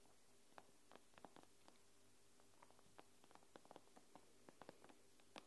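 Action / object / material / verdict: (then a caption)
tap / tablet glass screen tapped with fingernails / glass / none. Long pink-painted nails on two hands tap and scratch the black glass screen of a thin, solid iPad lying flat, screen up. About fourteen quiet, sharp clicks with brief bright ticks fall at irregular intervals, each dying away almost at once. Between them sits a steady low hum.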